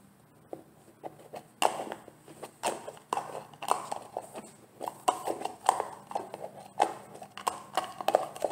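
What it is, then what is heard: Plastic gel jar. A medium translucent green plastic olive oil gel jar, filled with gel, is handled and tapped with fingertips and painted nails. About two dozen light, dry, clicky taps come in an uneven rhythm, each dying away almost at once, with faint handling rustle between them.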